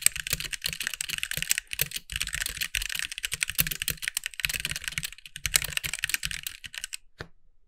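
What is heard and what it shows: Both hands type with their fingertips on a compact backlit mechanical keyboard with white plastic keycaps. It makes rapid, bright, clacky keystrokes in quick bursts with brief pauses and very little low end. The typing stops and a single last click sounds just before silence.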